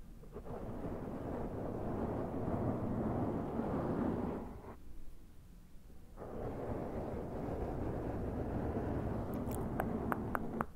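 Fingertips of both hands tap and rub the sides and top of a black foam windscreen on a Zoom recorder. The result is a dense, low, muffled rumble of scratchy friction that drops away briefly in the middle and then resumes, with a few sharper, brighter taps near the end.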